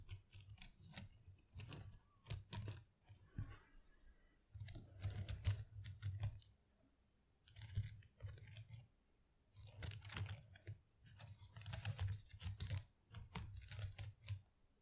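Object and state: Artificial plastic plant leaves.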